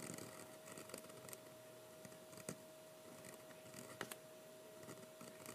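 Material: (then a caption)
Paper. A metal-nib fountain pen writes lettering on a single sheet of thick 80# heavyweight sketching paper lying flat on a wooden table, held down by one hand. Soft, dry scratching comes in short repeated strokes, with a few sharper ticks standing out over a quiet hiss and a faint steady tone.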